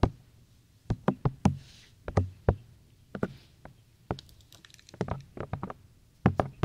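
Fingertips of both hands tap and knock on the two white, soft, hollow silicone ear-shaped pieces of a black binaural microphone. The result is a string of short, dull, low thumps in an irregular rhythm, some coming in quick clusters, with faint brushy rustles between them.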